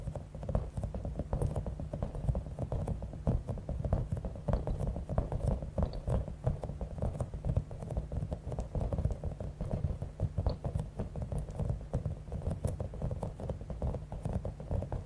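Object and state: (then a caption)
Bead-filled rubber squishy ball. A palm-sized, clear, soft rubber stress ball with a spiky top, filled with small blue and pink beads, is held in one hand and tapped and scratched with long acrylic nails. Dense, rapid, soft taps and scratchy crackles run without a break, with a muffled low-heavy tone. Each tap dies away almost at once.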